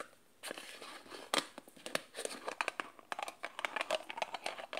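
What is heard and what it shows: Fingers and nails tap and scratch a small glass jar, partly covered by a peeling white label, and its black plastic screw lid. A quick, uneven run of crisp, bright clicks and scrapes follows, each dying away almost at once, with almost no low end.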